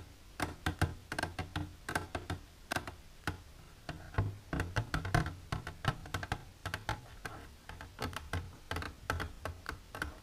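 Long silver nails tap the side wall of an empty, clear plastic container standing upright. The result is dozens of quick, dry, hollow clicks in an uneven rhythm, each with a low, thumpy body and a bright tick that fades almost at once.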